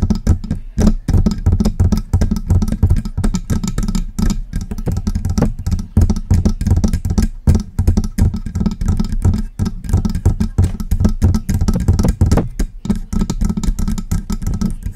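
Long press-on nails tap and scratch the front of a silver metal USB desktop microphone with a hollow body. The result is a steady, fast stream of close, dull knocks and scrapes over 15 seconds, heavy in low boomy thump with very little high-end brightness. Each tap dies away quickly.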